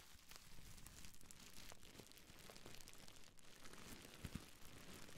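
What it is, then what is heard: Plastic bubble wrap. Fingers and nails crinkle, squeeze and scratch a small folded piece of clear plastic bubble wrap held in both hands next to the microphone. It makes a quiet, steady crackle of fine crinkles and scratchy rustles, with a few sharper snaps near the end.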